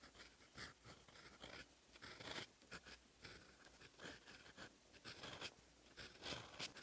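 A steel fountain pen nib writes in black ink on a lined paper sheet in a notebook, scratching across the page. The quiet, bright scratching comes in short strokes that rise and fall in loudness, with little low end.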